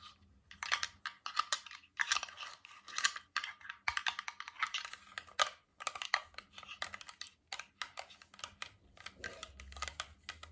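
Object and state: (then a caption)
Glass water bottle with metal cap. Fingertips, nails and metal rings tap and scratch along a clear, empty, hollow cylindrical glass water bottle with a metal screw cap and water droplets inside, held horizontally. Quick, bright clicking taps come in dense bursts over a faint low hum, with short ticks and light scraping between them.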